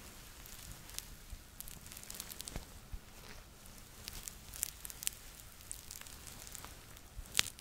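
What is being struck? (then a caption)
Stuffed plush toy with fuzzy fabric. Fingertips scratch and rub the fuzzy fabric belly of a medium-size, soft, stuffed yellow Teletubby Laa-Laa plush toy held in both hands in front of the microphone. The result is a quiet, bright, crackly scratching and rustling with scattered sharp little clicks, the loudest one just before the end.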